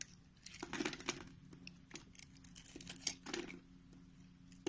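A purple Palmolive soap bar held in the palm is cut and shaved with a green utility knife blade. Crisp, bright scraping and crumbly crinkling bursts come in uneven waves over a faint steady low hum, ending on a sharp final cut.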